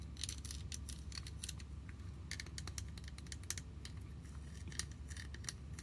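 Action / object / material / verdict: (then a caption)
tap / small hollow plastic toy picnic basket / plastic / none. A small yellow hollow plastic My Little Pony picnic basket with orange handles and a heart is held in both hands and tapped and scratched with long nails. Quick, bright clicks and scratchy ticks sound over a low steady hum.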